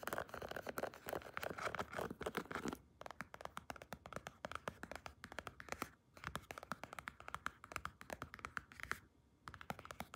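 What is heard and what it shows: Long red-painted nails rapidly scratch and tap a large black padded leather (possibly faux leather) belt, likely a weightlifting belt, with white contrast stitching, held against the body. A dense burst of dry scratching runs through the first three seconds, then gives way to quick, crisp tapping clicks with short scratchy flurries returning near six and nine seconds. The sound is quiet and close, with dull, short-lived taps.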